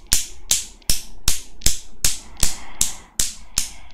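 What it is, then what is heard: Steel Newton's cradle. A small desktop Newton's cradle with five solid steel balls on a chrome frame is worked by long black-painted nails that pull and release the balls so they knock against each other. Eleven sharp, bright metallic clicks sound in a fairly steady rhythm, each dying away quickly.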